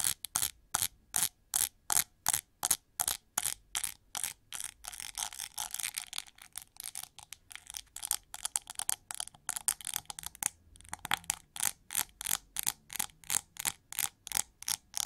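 Long gold-painted nails scratch across the dense pink plastic bristle pad and ridged rim of a hand-sized, heart-shaped detangling hair brush with a shiny gold plastic back, held in the hand. The result is a steady run of short, bright, crackly scratching bursts at a quick pace, blurring into denser, continuous raspy scratching midway before returning to distinct strokes.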